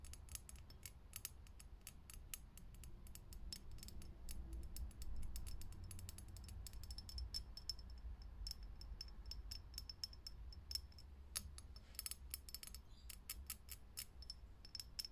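Fingernails tap fast on the glass of a lit, hollow, clear vintage filament light bulb. Quick, bright, glassy clicks come in uneven bursts. A steady low hum runs underneath.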